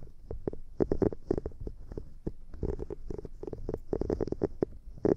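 Long painted nails scratch and tap the bristled surface of a small light-blue silicone cleansing scrubber pad, held bristle side toward the mic. The solid, soft silicone gives a rapid run of muffled, low-pitched taps and short scratchy rubs with a thick low body. Only a faint high hiss sits above it.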